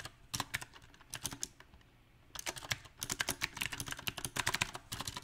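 A backlit compact mechanical keyboard with round typewriter-style plastic keycaps on a silver metal frame is typed on with fingertips. Bright, sharp key clicks come in irregular bursts, with a brief quiet pause near the middle before the typing resumes at a faster pace.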